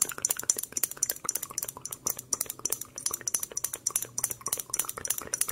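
Long acrylic nails tap and scratch a small, clear, empty-looking glass bottle with a cork stopper, held close to the microphone. Dozens of quick, bright, clicky taps run in an uneven stream, mixed with light scratching. Each tap rings only briefly, with almost no low end.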